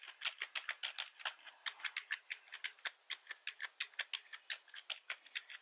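Fingertips of both hands type fast across the keys of a full-size black plastic computer keyboard. About thirty short, bright clicks patter in a quick, uneven stream over five and a half seconds. Each click centres near 3.7 kHz, has no low end, and dies away almost instantly.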